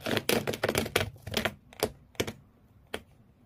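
Fingernails of both hands scratch rapidly across the corrugated cardboard floor inside an empty shoe box. A dense run of dry, bright scraping bursts fills the first second and a half, then thins into a few separate sharp scratches with quiet gaps between them.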